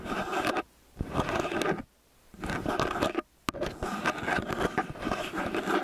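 Fingertips and nails scratch and rub the ridged metal capsule heads of a small X/Y stereo microphone with a hollow metal body. The result is close, crackly scraping in bursts separated by brief silences, with a few sharp clicks.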